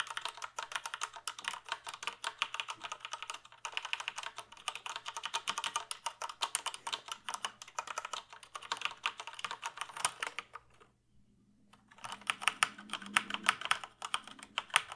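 A full-size plastic computer keyboard is held up while fingertips type rapidly on its keys, giving a dense stream of short, bright plastic clicks with a faint steady low hum underneath. The typing stops for about a second near the 11-second mark, then resumes briskly with some softer, lower tapping mixed in.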